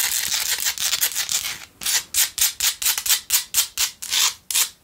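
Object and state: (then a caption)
Himalayan salt candle holder. Long nails scratch the rough sides of a hand-held pink Himalayan salt single tealight candle holder. A quick, continuous gritty rasping is followed by a short pause, then a series of separate, sharp scratching strokes. The sound is bright and airy, with almost no low end.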